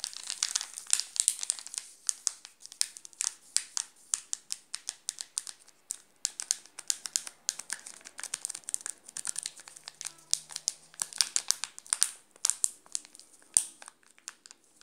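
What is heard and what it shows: Fingers grip and scratch the plastic film wrapper of a wrapped chocolate bar held close up, making it crinkle. A dense run of sharp, bright crackles and rustles carries on throughout, with almost no low end and each snap dying away instantly.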